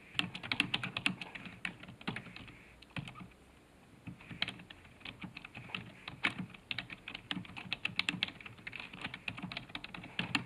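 Fast fingertip typing on a black plastic computer keyboard resting on a desk gives a dense run of short, bright key clicks with a soft low thump beneath. The typing pauses briefly near the three-second mark, then resumes in steady bursts until the end.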